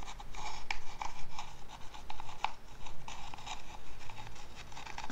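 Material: Wood.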